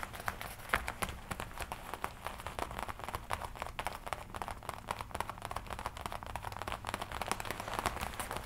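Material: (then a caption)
Leather. Fingertips and nails tap and scratch the chest panel of a worn black-and-red leather jacket with metal studs on the collar and chest. The result is a rapid, dense run of short, dry taps and soft crinkling scratches. The sound is fairly quiet, with a mid-range focus around 1.7 kHz and almost no ring after each hit.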